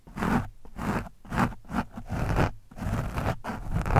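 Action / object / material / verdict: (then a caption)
scrape / foam microphone windscreen / foam / none. The thin steel shaft of a screwdriver scratches and pokes an orange foam windscreen on a microphone. The soft, porous foam gives repeated bursts of muffled, scratchy rustling in an uneven rhythm, with a heavy low rumble and little bright detail. Each stroke swells and fades with brief gaps between.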